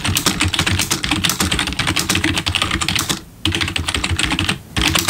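Fingertips type on the plastic keys of a black RGB backlit computer keyboard, sometimes with one hand at a time. Rapid, bright clacking keystrokes with a soft low thud continue steadily, broken by two brief pauses before the typing resumes.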